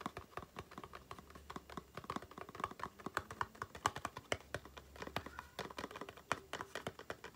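Long painted nails and fingertips tap rapidly on a small, hollow, rectangular cardboard aloe face cream box held upright. The result is a quick, uneven patter of dry, hollow clicks, each dying away almost instantly, with a faint tone near 1 kHz.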